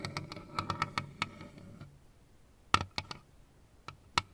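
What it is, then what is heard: Plastic Pac-Man desk lamp tapped. A lit plastic Pac-Man and ghosts LED desk lamp, with hollow shell figures on one base, is tapped with fingertips and nails. About thirteen sharp, bright clicks are heard: a quick cluster in the first two seconds, then a pause and a few scattered taps. Each tap rings briefly around 1.3 kHz over a faint low hum.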